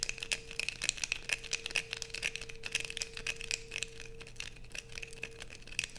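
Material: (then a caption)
Soap. Long nails scrape a solid blue bar soap with a grooved edge held in the hands, sending shavings falling. The result is a dense run of bright, crisp scratching strokes with quick, dry crinkly attacks and no ring. A faint steady tone sits underneath.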